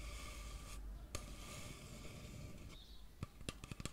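A medium-sized, hollow white plastic shampoo bottle labelled "men" with a black cap is held in front of the microphone and scratched and tapped with long fingernails. A soft, continuous scratchy rubbing fills most of the clip, broken by one crisp tap early on and a quick cluster of five sharp, short taps near the end.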